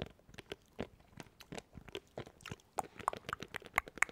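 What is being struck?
Plastic macro keypad.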